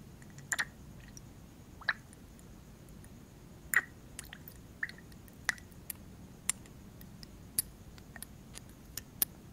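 A small clear glass perfume bottle with a black cap is held close and its cap is handled and tapped against the bottle with the fingertips. The result is a sparse, irregular series of quiet, short, bright glassy ticks and clicks, centred around 1.9 kHz, over a low steady hiss.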